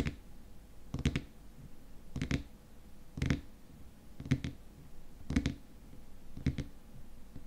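Fingertips and nails tap and scratch the top of the white plastic lid on a small, squat glass cream jar with white contents. Six short bursts of quick double taps, each with a faint scratch, come about once a second. The sound is dull and low-pitched with almost no ring, over a quiet background.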